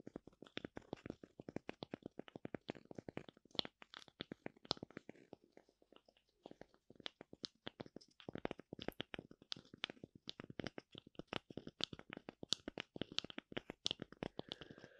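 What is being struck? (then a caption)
Thin wooden tree slice with bark. Long nails scratch the face of a thin, oval, light-colored wooden tree slice with a bark rim, held in the hand. A quiet, rapid run of short, dry, bright scratching strokes centers around 3.5 kHz with almost no ring. The strokes thin out briefly in the middle, then resume.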